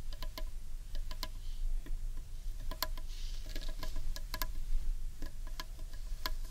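Long nails tap and fingertips drum on the underside of a large, hollow, carved wooden bowl. Quick, sharp clicks come in irregular clusters, each with a faint hollow tone that dies away almost at once. A steady low rumble sits underneath throughout.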